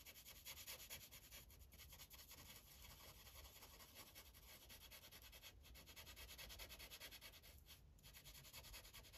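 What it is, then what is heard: Felt-tip marker coloring on a paper sheet. The felt tip of an orange Sharpie marker, held in the fingers, colors in a thin printed paper coloring page clipped to a clipboard. Quiet, continuous rubbing and scratching strokes form a bright, hissy texture that pulses steadily back and forth with no pauses.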